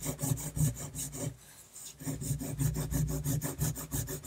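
A technical pen nib rapidly scratches dense hatching lines across a flat sheet of drawing paper, making quick, repeated rasping strokes with a low body and bright, airy scratch on top. The strokes pause briefly in the middle, then resume at the same brisk pace until the end.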